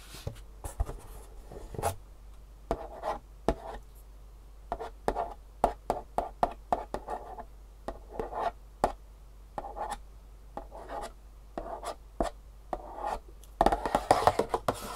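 Long fingernails tap rapidly across the front face of a long, flat, hollow printed cardboard Superfeet shoe insole box held up close. The result is dozens of short, dry, clicky taps with a hollow papery midrange body and a bright edge, over a quiet low hum. Near the end the taps bunch into a faster, scratchier flurry.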